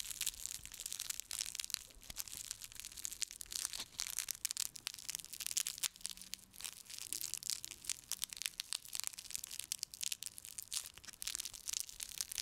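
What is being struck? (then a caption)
Whole raw onion with papery outer skin. A whole raw pale yellow onion, fist-sized and solid, is held in one hand while the fingertips of the other scratch and peel at its dry, papery skin near the stem end. Dense, bright crackling, crushing and tearing sounds come in quick, crisp bursts with almost no low end and no ring.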